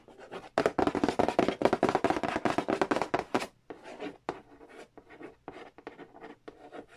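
Fingernails trace and tap across the glossy printed cardboard lid and side edge of a large, flat, hollow Monopoly Nintendo edition board game box. A dense run of quick, bright scratching strokes gives way to softer, separated dry taps and short scrapes with almost no ring.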